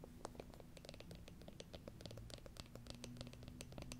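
Long acrylic nails tap and scratch a small, hollow, round wooden jar with a lid held in the hands. Rapid dry clicks and scratchy rasps with bright edges patter over a low, steady rumble, and each tap dies away almost instantly. The overall level is quiet.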